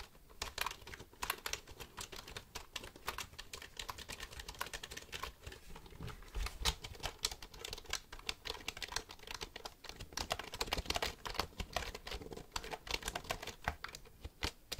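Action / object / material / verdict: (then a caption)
tap / plastic computer keyboard / plastic / none. Fingertips type and click the keys of a black plastic computer keyboard held upright. A steady, rapid stream of short, bright clacks and clicks carries on throughout, each dying away almost instantly, with some louder bursts and a faint low thump under the strokes.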